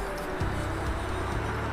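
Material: Nothing is struck.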